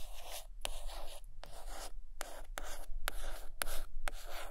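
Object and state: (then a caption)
Hardcover book. Long painted nails scratch and tap on the cover of a large purple hardcover book of drawings resting on a blanket. Soft, bright scratching strokes run continuously, broken by sharp, short taps that stand out as separate clicks, with a low hum underneath.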